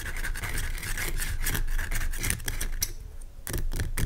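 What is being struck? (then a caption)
Rock salt lamp. Fingernails scratch the sides of a large, pale rock salt lamp made of solid, rough crystal. Dense, rasping scratches come in quick, uneven strokes over a low rumble, with bright crackly bursts. The scratching eases briefly before picking up again at the end.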